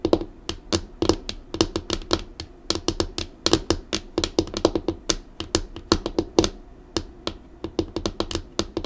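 Long acrylic nails tap and drum on a flat, dark, solid laminated desk tabletop. They make a quick, uneven series of about forty sharp, clicky taps, each with a bright edge and a hollow knock around 340 Hz. The taps die away almost at once, with no ring.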